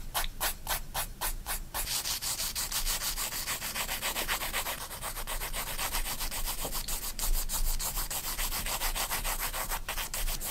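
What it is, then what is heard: Pencil shading on sketchbook paper. A graphite pencil shades a spiral-bound paper sketchbook page with long strokes, giving a steady, dry scratching rub. Broadband hissy strokes repeat in quick back-and-forth passes, with a low rumble underneath and bright, airy texture on top.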